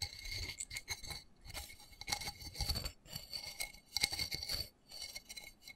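Fingernails rapidly tap and scratch the embossed side of a small black textured plastic flower pot, filled with soil and a cactus and held in both hands. The result is a bright, dry stream of quick clicks and raspy scrapes that stop almost instantly, with a faint steady tone near 2.2 kHz and a higher bright one running through the bursts.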